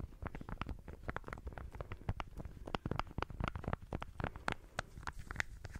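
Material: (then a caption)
Plastic. Long manicured fingernails rapidly tap and scratch a small pink and white egg-shaped plastic lip balm, a hollow case held in one hand. The result is a dense run of quick, dry clicks with a soft, hollow low body and a few brighter ticks, each one dying away at once.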